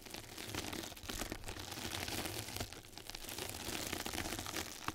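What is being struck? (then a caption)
Knitted mesh bath sponge scratched with small brushes. Two mascara brushes scratch and brush across a flat yellow knitted-mesh bath scrub sponge pad placed over the microphone. The result is a steady, dense crinkling and scratching texture with bright, hissy detail and a soft low rumble beneath. The level stays fairly even throughout, with small swells as the strokes continue.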